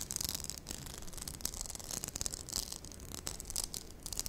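A small hollow pink glossy plastic cupcake-shaped lip balm case with a ribbed base and swirled lid is held in both hands while long nude-polished nails tap and scratch it. The result is a steady stream of quick, bright plastic clicks and scratchy rubbing, like typing, over a low rumble.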